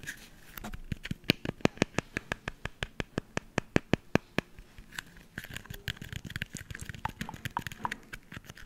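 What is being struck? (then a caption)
Brown hen's eggshell. A hollow, broken-open brown hen's eggshell is held close to the mic and crunched and peeled with fingertips and nails. A steady run of sharp, dry cracks in the first half gives way to softer, scratchy crinkling and peeling, with each snap dying away instantly.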